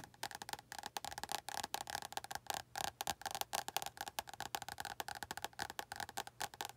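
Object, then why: Paperback book with glossy card cover. Long acrylic nails tap rapidly on the glossy front cover of an orange paperback book held in both hands, producing around 35 quick, separate clicks. Each tap is dry and short, with a hollow, woody tone centered near 800 Hz, a bright, crisp edge, and almost no low end.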